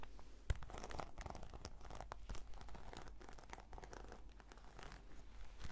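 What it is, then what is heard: Faux-leather case scratched with fingernails. Long nails scratch across a black glossy, croc-embossed patent faux-leather brush case with a cord tie. The result is a continuous run of dry, crinkly scratching and rasping over a steady low rumble, with a sharper click near the start.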